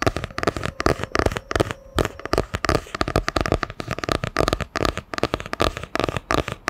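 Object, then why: Hardcover book with cardboard cover. A solid hardcover book with a printed cardboard cover is held in both hands and tapped with long nails across the cover. Rapid, crisp clicks come in quick bursts, each with a dull, hollow knock and almost no ring. The tapping runs steadily throughout at a fairly even level.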